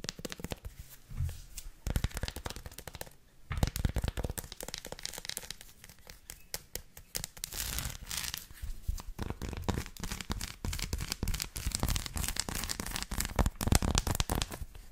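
Long acrylic nails scratch quickly over a flat, solid dark chocolate bar with a dense raised dot pattern and tap on it, first with the bar held horizontal and then vertical. The result is a dense, rapid stream of dry, bright crackling scratches mixed with short, sharp clicks that stop almost instantly. There is a brief lull near the three-second mark, after which the scratching grows busier and more steady.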